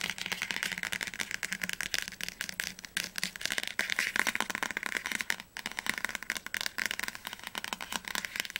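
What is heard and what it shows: Fingernails tap rapidly on the glossy cardboard spine of an orange hardcover copy of "Die Tribute von Panem - Flammender Zorn" held upright, a solid book. The result is a dense run of dry, bright clicking taps with almost no ring and little low end, with a brief lull about two-thirds of the way through.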